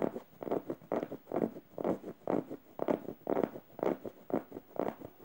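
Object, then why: Stuffed plush fabric pillow. Red-painted fingernails scratch the plush fabric and felt eye of a yellow stuffed emoji cushion in a steady back-and-forth rhythm. The result is soft, dry, rasping bursts of fabric noise, mostly in the low-mid range, repeating about twice per second with short quiet gaps between strokes.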